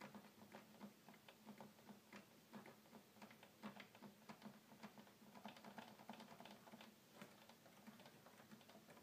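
Fingertips press the plastic piano keys of a hollow red plastic toy keyboard, producing a quick, irregular run of short, light clicks. The clicks are quiet and dry, with a faint steady hum underneath.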